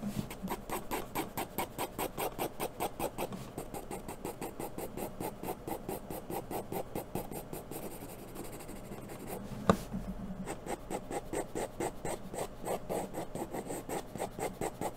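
A wooden graphite pencil scratches and rubs across a thin sheet of white drawing paper resting on a brown board, making quick hatching strokes to shade hair. The result is a rapid, steady train of short, dry, raspy scrapes. A brief pause near the middle is marked by a single sharper tap, then the strokes resume.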